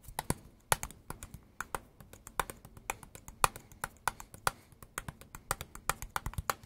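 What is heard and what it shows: Fingertips and nails tap a hand-sized, dark green and black Makita power tool battery pack with a solid plastic housing, held in both hands. Quick, dry plastic clicks and taps come in an irregular, rhythmic stream, with bright clicky tops and almost no ring, over a faint low background hum.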